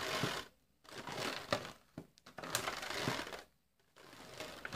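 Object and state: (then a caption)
Thin plastic clamshell food container. A small, clear, thin plastic clamshell tray full of sliced cold cuts is held in both hands and squeezed, crinkled and tapped with the fingertips while being opened. Bright, dry crackling comes in bursts, with sharp clicks and taps that stop quickly, separated by brief near-silent pauses.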